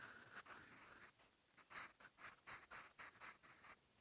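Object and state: Pencil writing on a paper notebook page.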